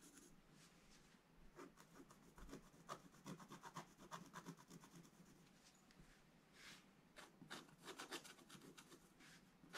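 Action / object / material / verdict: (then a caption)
scrape / black-coated scratch-art paper scratched with a wooden stylus / coated paper / none. A pointed wooden stylus scratches across a black-coated scratch-art paper page in a bound book. A quiet, rapid run of short, dry scratching strokes comes in uneven bursts, each with a bright, rasping hiss and no ring after it.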